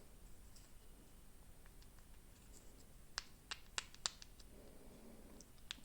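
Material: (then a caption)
Rubber. A stiff, hardened rubber metering diaphragm from a Stihl 023 chainsaw carburetor is flexed, giving a few quiet, sharp, crackling clicks over a faint hiss. The diaphragm is no good because it needs to be very flexible.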